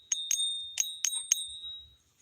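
A one-ounce silver bullion coin is struck or flicked five times for a ping test. Each tap gives a sharp, high, bell-like ring that lingers and overlaps the next. The clear sustained tone marks it as real silver.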